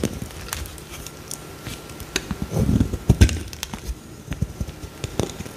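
A solid pale green bar of soap, its surface scored with lines, is scraped and sliced with a metal utility-knife blade. Short, dry, crackling scrapes and snaps repeat throughout, mostly low and dull with faint bright ticks. They build to a denser, louder crunch of cutting near the middle before easing back to lighter scraping.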